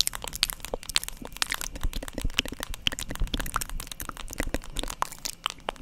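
A black, hand-sized, hollow-backed plastic paddle hairbrush, held beside the microphone, is tapped repeatedly with long acrylic nails. The result is a rapid, uneven stream of sharp, dry clicks with bright, crackly highs, a hollow low knock and no ring after each tap.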